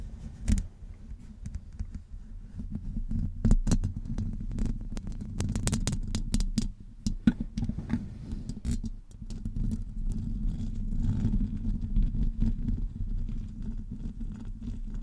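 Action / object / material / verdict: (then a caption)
scrape / metal wire-mesh microphone grille / metal mesh / none. Long acrylic nails scratch and tap a hollow metal wire-mesh microphone grille while hands grip it from above. A dense, low, throbbing rumble fills the clip, broken by sharp, brief clicks and scrapes that flash bright and die away almost instantly.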